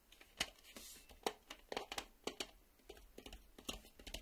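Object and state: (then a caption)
Plastic VHS cassette. Fingernails tap on the edge of a black plastic VHS cassette, then on its ribbed side with the reel windows. The result is a string of sharp, bright, dry clicks with almost no ring, broken by a brief soft scratchy hiss early on, all at a quiet level.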